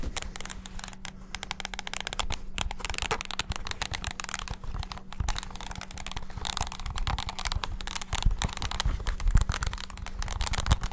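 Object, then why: Plastic mini keyboard. Fingertips rapidly press and tap the keys of a small black handheld plastic mini wireless keyboard. The result is a dense, continuous stream of quick, dry plastic clicks and clacks, with bright crinkly detail over a steady low hum.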